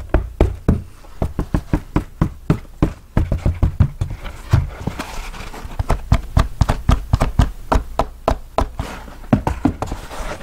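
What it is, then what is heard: Felt hat tapped on the crown. A brown felt cowboy hat with a hollow crown is held while fingernails tap and scratch on the crown. Quick, dry taps with almost no ring sound in a steady, uneven rhythm, with deep low thumps under soft scratchy rustling between them.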